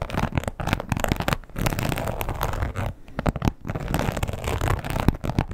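Long pointed nails scratch across the textured surface of a red croc-embossed leather wallet lying flat. The result is a dense, continuous rasping and crackling with a heavy low-end rumble and little bright content, broken by a few brief pauses.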